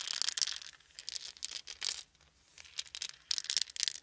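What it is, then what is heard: Wooden beads. Hands scoop small, round, solid wooden beads from a blanket into cupped palms, then roll and shake them so they clack together. The sound is a bright, dry rattle of dense clicks in bursts, separated by short quiet pauses, with almost no low end.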